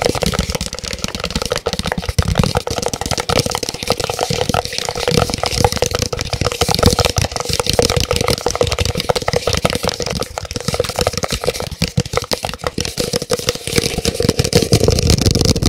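A large white branded disposable paper cup, hollow and empty, is held with its open end toward the mic and tapped rapidly with the fingertips around its outer wall. The taps form a dense, steady stream of short, dry knocks with a hollow tone near 490 Hz that continues throughout.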